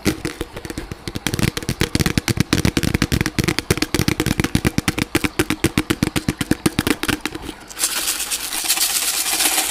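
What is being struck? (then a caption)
Disposable plastic cup. A small, hollow, empty white disposable plastic cup held by the microphone is tapped and scratched with fingers and nails. A rapid run of dozens of short, hollow taps with a low body comes first, then it shifts into a steady, bright scratching hiss for the last couple of seconds.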